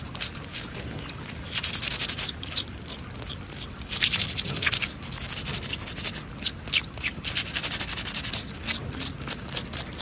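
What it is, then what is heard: Wet stone paving slabs. Fingernail tips scrape and tap along wet, solid stone paving slabs of a patio and across their grout lines. The result is a run of bright, dry scratching bursts mixed with quick taps, swelling loudest around two seconds and again from four to five seconds, over a steady low background hiss.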